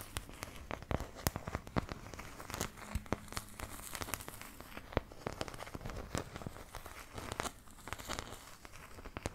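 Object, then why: Thin plastic paint palette scratched with fingernails. Long nails continuously scratch the surface of a thin, empty, oval white plastic paint palette held close in front of the mic. The result is a steady crinkly scraping texture broken by many sharp, brief clicks and ticks, over a soft low rumble.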